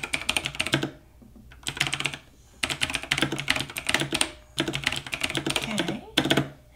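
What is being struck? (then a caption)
Plastic mechanical computer keyboard. Fingertips of both hands type quickly on a full-size black plastic mechanical computer keyboard lying on a wooden desk. The result is rapid, bright, clicky keystrokes in several bursts separated by short pauses, each click dying away almost instantly with little low-end weight.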